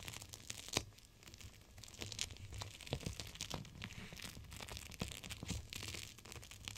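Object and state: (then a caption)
Plastic gel-bead cold pack. A clear plastic cold pack filled with teal gel beads is pressed and rubbed against glass by fingertips with long nails. It makes a steady stream of crinkly, crackling plastic sounds with sharp bright snaps over a faint low hum.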